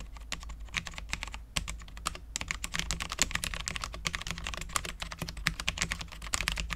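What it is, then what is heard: Low-profile mechanical keyboard, ABS keycaps on steel plate. A full-size Cherry MX10.0 low-profile mechanical keyboard with Cherry LP switches, dark ABS keycaps and a steel plate is typed on continuously with the fingertips of both hands. The result is a rapid, uneven stream of short, bright, crisp key taps that die away almost instantly, over a steady low hum.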